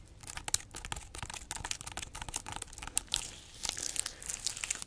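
Long acrylic nails scratch and tap the rough, segmented rind of a large, solid, whole fresh pineapple with its crown, held in the hands. The result is a dense run of quick, dry, crackly scratches and sharp clicks that are bright and high-pitched with little low end, each stopping almost instantly.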